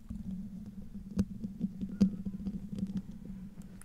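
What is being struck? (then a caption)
Metal mesh microphone grille. Medium-length nails, worn with rings, scratch the hollow metal mesh grille of a silver Blue Yeti microphone, producing a steady low, rough rumbling hum around 190 Hz. Sharp clicks and taps break through it, with two louder knocks standing out near 1.2 and 2 seconds.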